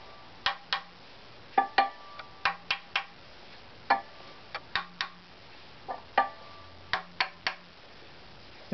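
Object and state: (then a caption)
Wooden violin body tapped. A hollow violin body of varnished wood is held in one hand and tapped repeatedly with the fingertips of the other. About 17 short, dry knocks fall in small groups of two or three, each with a brief woody tone around 790 Hz that dies away almost at once.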